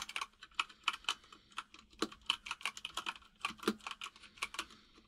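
Fingertips of both hands type on a full-size mechanical keyboard with white and grey plastic keycaps and a hollow case, producing about two dozen sharp, bright plastic key taps in an uneven rhythm. Each tap is short and dry, with almost no low end, over a faint steady low hum.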